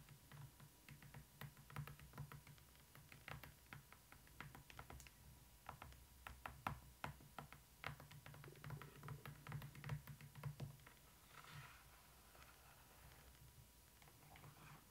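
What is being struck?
Hardcover book spine, cardboard with paper cover.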